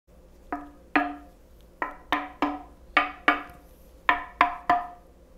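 A Linn turntable plinth in afromosia wood, an open square hollow frame about 45 cm across, hangs from a string and is knocked repeatedly by a white-gloved hand in a ring test. Ten dry, woody taps sound at an uneven pace. Each gives a short resonant tone near 700 Hz with a lower partial and a bright attack, and dies away quickly.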